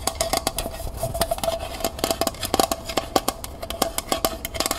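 A small, hollow, empty copper-finish metal pail with a wire handle is tapped rapidly on its sides and base with long painted nails. The result is a quick series of sharp, bright clicks that fade almost immediately, over a faint metallic ring near 770 Hz.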